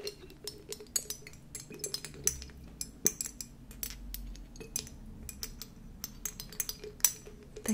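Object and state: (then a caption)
Glass dropper bottle. A small amber glass dropper bottle, partly filled with liquid, is handled with long nails while its glass dropper pipette clinks against the bottle neck. Many short, bright glass clinks and taps sound over a faint low hum, each dying away almost at once.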